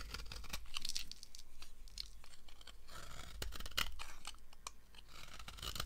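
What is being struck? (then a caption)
Bar of soap cut with a knife. A red-handled knife blade carves a solid yellow oval bar of dry soap with embossed letters, shaving off crumbly curls. Dense, dry crunching and scraping with bright crackles continues throughout, with sharper snaps standing out along the way.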